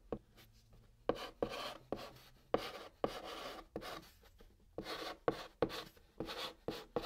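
White chalk writing Korean text on the top of a brown cardboard box, scratching and rubbing across the surface. Short sharp taps at each stroke start run into bursts of dry, bright scraping. The strokes come in irregular bursts with brief pauses between them.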